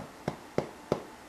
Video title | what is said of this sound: 'Braiding' Bread | and there you go you have a lovely loaf of bread that has a hollow sound when you tap it and it's got a pretty top